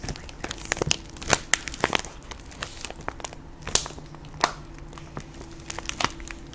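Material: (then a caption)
Plastic. Long pink acrylic nails scratch and tap a medium plastic Jolly Rancher hard candy bag, filled with candy and held up in one hand. The bag crinkles with quick, bright clicks and rustles over a faint, steady low hum.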